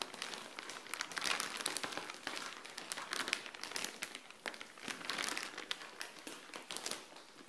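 Long nails scratch and crinkle a clear plastic bag with folded grey clothing inside, resting on a tile floor. Dense, bright crinkling and crackling fill the clip in quick bursts, with almost no low end and short, dry decays.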